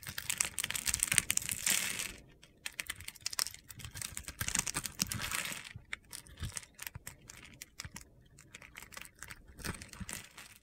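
A utility knife blade scores and slices a solid yellow bar of soap held in the hand, cutting it into small crunchy cubes that crumble off. The result is a steady run of crisp, gritty scraping and cutting bursts, bright and dry, with short pauses between strokes and no ringing.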